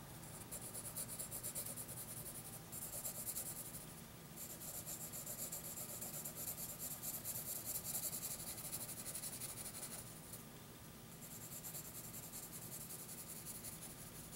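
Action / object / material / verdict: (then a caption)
scrape / graphite pencil on thin paper sheet / paper / none. A hand shades a shark drawing on a thin lined notebook sheet with a wooden graphite pencil, the tip scratching across the paper. Soft, steady rasping strokes make a bright, hissy scratching that briefly eases a few times before carrying on.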